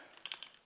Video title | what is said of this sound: A look at some flashlights | you can hear that rattle too